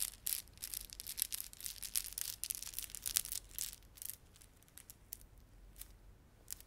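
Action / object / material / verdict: scrape / plastic beaded ornament / plastic / none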